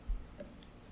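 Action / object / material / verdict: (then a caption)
knock / baked bread loaf / bread / hollow. A hot loaf of country white bread, fresh out of the oven, is knocked twice, giving low, hollow, drum-like thuds, a strong one followed by a fainter one. The hollow sound shows the loaf is done.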